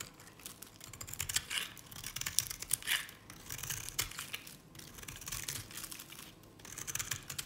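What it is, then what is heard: Dry bar soap. A knife blade scrapes strips from the face and edge of a dry, cream-colored Nevskaya Cosmetics solid soap bar. The result is a run of quick, dry, bright scratching and crumbly shaving sounds with little low end and no ring.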